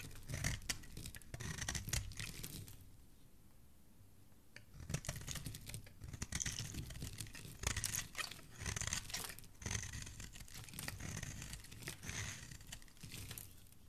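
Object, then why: Bar of soap shaved by a metal blade. A metal blade shaves a solid white bar of soap into curls, and the bar is later held in the fingers. Quick, dry scraping and crunching strokes carry a bright, hissy edge over a low rumble. A quieter pause falls near the three-to-four-second mark before the shaving resumes in dense bursts.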